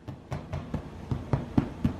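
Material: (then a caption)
Bread. Eight dull, low thuds as the top of a honey oat bread loaf is tapped after 90 minutes of baking, each dying away almost at once. The hollow thud shows the loaf is done.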